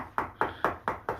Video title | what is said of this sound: Le projet remis sur les rails | ça sonne comme du béton